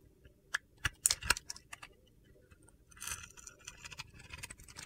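A metal utility knife blade shaves flakes off the dark glitter coating of a solid white soap bar held in hand. Sharp, bright, crunchy scrapes sound as separate quick strokes at first, then run into a denser gritty shaving texture. The sounds are quiet with almost no ring after each stroke.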